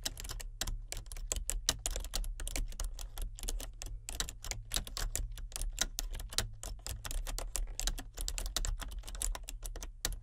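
Fingertips of both hands type continuously on a solid, full-size plastic membrane computer keyboard with a colour-changing backlight. A rapid stream of short, bright plastic key clicks and clacks runs over a steady low hum.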